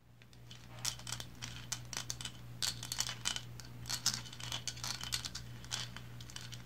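Long blue acrylic nails scratch and tap the sides of a small, solid, red-and-white painted resin lighthouse figurine with textured banded stripes, standing on a cloth placemat. Quick, bright clicks and rasping scrapes come in dense bursts with almost no ring, over a faint steady low hum.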